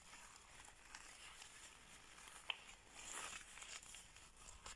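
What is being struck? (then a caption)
Thin latex surgical glove. A thin, sticky latex surgical glove that has been taken off is crumpled, squeezed and stretched between bare hands with long painted nails. The result is quiet, bright crinkling and rubbery rustling, with a sharp little snap near the middle and a louder stretch of crackling just after.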